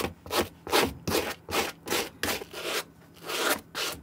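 A white plastic-bristle suede brush scrubs a green suede Nike SB sneaker, held empty in hand, across the toe, side and tongue in back-and-forth strokes. About nine bright, hissing rubbing strokes come in a loose, uneven rhythm, each a short scratchy swell with little low end.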